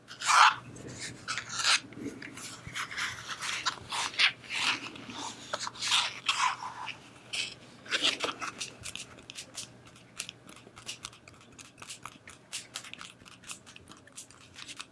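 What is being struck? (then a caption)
Plastic battery pack. A black, hand-sized, solid hard-plastic power bank is scratched and tapped with long manicured nails across its textured surface. Bursts of bright, dry, rasping scratches alternate with quick clicky taps at an uneven pace, fading to softer, sparser taps toward the end.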